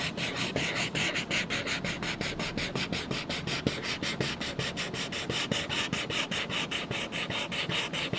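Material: Paper.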